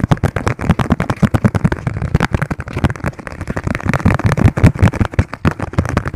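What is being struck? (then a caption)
Thin plastic margarine tub lid. Fingertips tap rapidly on the thin, hollow yellow plastic lid of a margarine tub held in both hands. The result is a fast, continuous run of short, dull, hollow thuds with a low pitch and very little treble, each dying away almost instantly.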